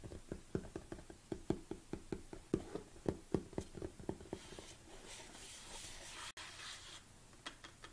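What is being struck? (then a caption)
Large plastic supplement tub. Fingernails tap on the sides and lid of a large black plastic protein tub, giving about nineteen quick, hollow clicks with a low-mid body and almost no ring. The taps fade into a soft, breathy rustle with a brief dropout. A few lighter taps follow at the end.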